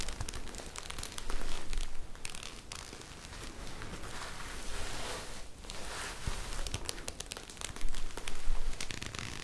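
A pair of padded teal and white Invicta Gore-Tex ski gloves, made of synthetic fabric and worn on both hands, with the gloved palms and fingers rubbed together close to the microphones. The result is a steady fabric crinkling and crackling with a low, rumbling body. It swells in louder bursts near the start and again toward the end.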